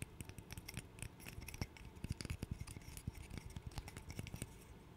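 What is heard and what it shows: Fingernails scratch and click across the solid blocks of a small, light-wood interlocking burr puzzle held close to the mic. The result is a dense run of short, dry scratches and taps with soft low knocks underneath and bright, crisp ticks on top, each one dying away almost instantly.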